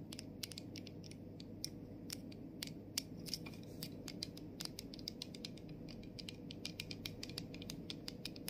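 Long nails tap the clear cap and the back label of a plastic body mist bottle. A quick, uneven string of short, bright clicking taps sounds over a steady low hum, each tap dying away almost at once.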